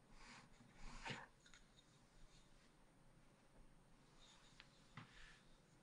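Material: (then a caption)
Coated paper. A wooden stylus held in the fingers scratches lines through the black coating of a thin, solid scratch art card in a spiral-bound pad lying flat on a table. Soft, bright rasping strokes come and go over a low background rumble. The loudest scrape comes around the first second, and a short, sharp scratch follows near the end.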